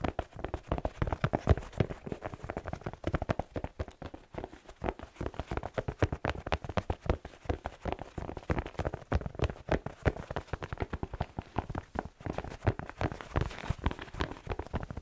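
A hand-sized, hollow black slipper with a red plaid fabric upper, white fleece lining and a rubber sole is held in front of a furry microphone. Fingertips tap and scratch its sole and upper, making a steady stream of quick, soft, low, dull taps mixed with rustling scratches.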